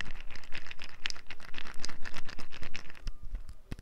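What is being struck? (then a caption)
Small glass bottle with plastic cap. Long nails tap and scratch a small amber glass bottle that appears filled, with a yellow and black plastic cap. About twenty quick, bright clicking taps come in a steady run, each with a soft low thump underneath. The taps fade into quieter, scratchy ticks at the end.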